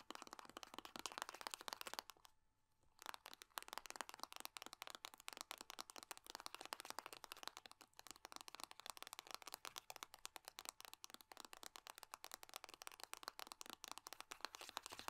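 A small metal-laminate hand cream tube is held and pressed while long nails rapidly tap and scratch across its crinkly foil body. The result is a dense stream of sharp, dry, bright clicks and crinkles with almost no low end, broken by a brief quiet pause near the start.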